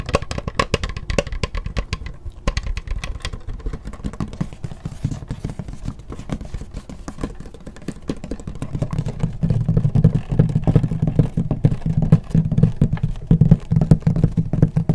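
Long nails tap and scratch across the textured plastic lid of a closed black laptop held in the hands, making a dense, uneven run of quick clicky taps and scraping. The sound is mostly low and thumpy, with a hum-like low body that swells louder in the second half.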